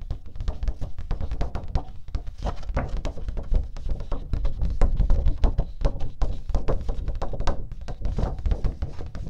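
Long pink nails tap rapidly on a flat teal cardstock sheet held upright. The result is a dense, continuous patter of short, dull, low thunks that die out almost at once, with no ringing and almost no high-end brightness.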